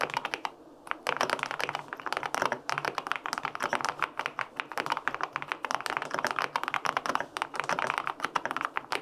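Fingertips type quickly on the plastic keycaps of a white-pink, full-aluminum 65% mechanical keyboard with linear switches. The result is a steady stream of short, crisp clacks with a bright, midrange-focused tone. The clicks decay almost instantly, leaving very little low-end thump.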